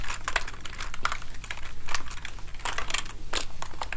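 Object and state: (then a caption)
Plastic keyboard keys clacking. A hollow plastic gaming keyboard is held up in front of the body while fingertips press a soft cleaning gel into the keys. The keys give off a quick, irregular run of sharp, bright clacks with faint sticky crinkling between them. A steady low hum sits underneath.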